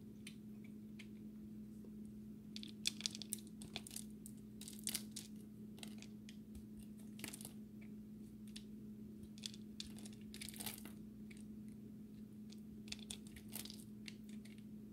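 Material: Soap.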